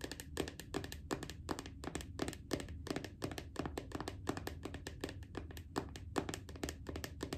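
Long acrylic nails tap rapidly and steadily on the printed lid of a small round red plastic body butter jar. The taps are short, dry plastic clicks with a bright top and a low, hollow thunk.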